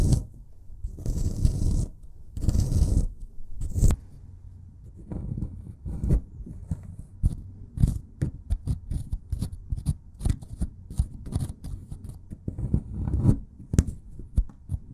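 A solid white plaster excavation block is scraped with a metal pick, then drilled or scratched with a twisted metal tip. The first few seconds carry long, dense scraping bursts. After that comes a run of short, sharp scratches and taps over low, close-up rumbling.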